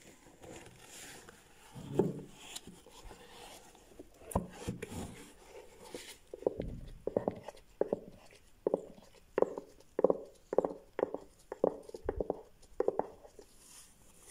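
A small rectangular cardboard gift box with a ribbed, striped lid is held and turned in latex-gloved hands while fingertips scratch and tap its sides and lid. Soft rustling and scratching in the first half gives way to a series of short, dry taps with a hollow tone around 500 Hz that die away almost instantly.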